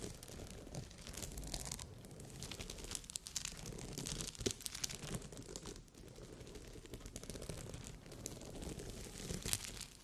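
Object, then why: Glass rhinestones sewn on fabric. Long red nails scratch across a rhinestone-covered bikini cup, its glass crystals set on fabric, making a continuous crinkly, scratchy rustle. The sound has a low rumble and bright clicks, with occasional sharper ticks as the nails catch on the stones.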